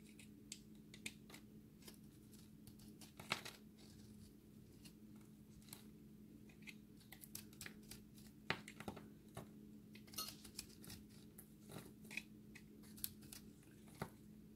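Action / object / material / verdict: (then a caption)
scrape / recycled soap ball / soap / none. A hand-held, solid, dry recycled soap ball with a blue and white core is shaved with the flat of a utility-knife blade. Many short, bright, crisp scrapes and crumbling ticks come at an uneven pace over a quiet, steady low hum.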